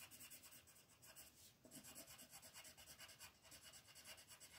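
A pink colored pencil is rubbed in short strokes along the left edge of a flat white paper mandala coloring sheet on a table, with the other hand resting on the paper. Soft, bright, scratchy rasps repeat steadily at about two strokes per second, with little low end.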